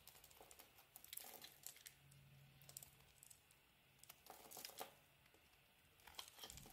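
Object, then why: Bar of olive and argan soap. A solid, cream-colored, palm-sized olive and argan soap bar is held in the hand and shaved with a metal box-cutter blade. The result is a quiet run of dry, bright crinkling and scraping bursts as stiff shavings curl off and crumble. A faint low hum sits underneath.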